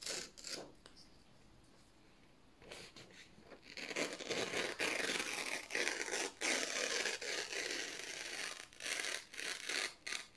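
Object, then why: Printed office paper sheets. Fingers slowly tear a strip from the edge of thin white printed office paper sheets held in the hands. After a few soft rustles and a quiet stretch, the tearing builds into a dense, bright, crackling rip that continues in bursts with brief pauses.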